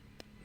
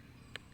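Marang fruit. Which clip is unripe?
The second.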